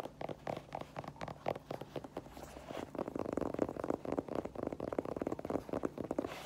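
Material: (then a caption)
Mesh, foam. Long nails tap and scratch the mesh fabric upper of an empty white Adidas mesh-and-foam sneaker, then tap its rubber/foam tread sole once it is turned up. The sound is a quiet, rapid run of soft, dry ticks and scratchy rustling, with a warm low-mid body and a faint bright edge. Each tap dies away almost at once.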